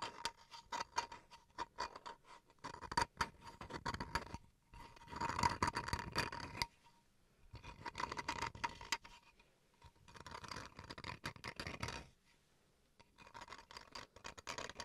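Fingernails scratch across the grained face of a small, solid bamboo wood cutting board held upright. Quick, crisp scratching strokes come in bursts separated by brief pauses, with a faint steady tone near 950 Hz running underneath. The sound is dry and bright.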